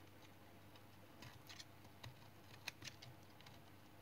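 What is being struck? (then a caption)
Household soap bar cut by a small knife. A small knife shaves flakes off a palm-sized, solid, light brown household soap bar held in the hand. Quiet, sharp scraping cuts and ticks sound over a low steady hum. The brightest click lands near 2.7 seconds.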